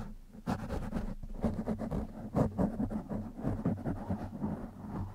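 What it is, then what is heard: Foam microphone windscreen being scratched. Fingertips and short nails of one hand scratch the top and side of a black foam windscreen over a microphone. The result is a close, continuous rustling scratch with soft thumps, heavy in low rumble with little high-end brightness.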